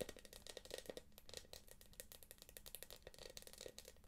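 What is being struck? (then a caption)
Small quilted plastic purse. Long nails scratch and tap quickly across the quilted surface of a small, hollow, light-blue glossy plastic purse with a gold clasp. The result is a fast, dry stream of short clicks and scratchy rattles with a bright hiss and a faint tone around 500 Hz, each tap dying away almost at once.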